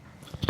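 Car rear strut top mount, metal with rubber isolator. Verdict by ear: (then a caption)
Tight. A brand new rear car strut top mount with its new isolator intact is shaken for comparison. Only a few faint, dull low thumps are heard, with no rattling, so the new mount is fine.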